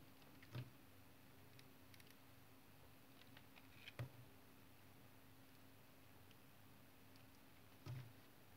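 A solid dark tar soap bar held in the hand has its edges cut with a utility knife blade. Quiet, low-pitched scraping cuts stand out as separate thuds over a steady low hum, with faint brighter ticks between them.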